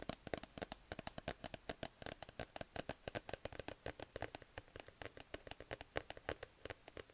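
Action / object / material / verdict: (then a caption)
scrape / plush fabric sleep mask mounted on a cardboard card / fabric, cardboard / none. Fingertips and nails scratch and rub the soft fabric of a grey plush cat sleep mask on a cardboard card, up close. About 49 quick, dry scratches and taps follow in a steady rapid run. Each is a crisp, crackly burst centered in the midrange that dies away instantly with no ring.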